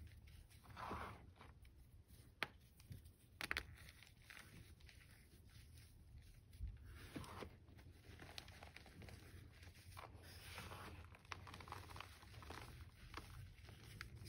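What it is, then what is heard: Gym chalk block crumbled by hand. A single block of green-dyed gym chalk (magnesium carbonate), already broken into powder and small crumbly chunks on a flat surface, is squeezed, crushed and rubbed between the fingertips of two hands with red-painted nails until it crumbles into powder. Quiet, gritty crumbling and soft crackling run throughout, with a few sharper snaps over a low, steady rumble.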